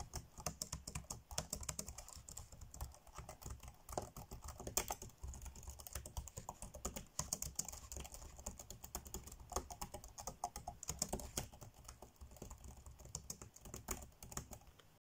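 Fingertips tap fast on the dark grey plastic chiclet keys of an ASUS laptop keyboard. The result is a steady stream of short, dry clicks with a low thud under each press and a bright tick on top, with no ring after each key.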